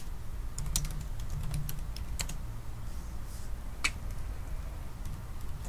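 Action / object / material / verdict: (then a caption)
tap / laptop keyboard with plastic keys in an aluminium body / plastic / none. Both hands type continuously with their fingertips on the black plastic keys of a silver aluminium laptop. This produces a steady run of short, dry, bright clicks with no ringing tail. The clicks sit over a low, constant rumble.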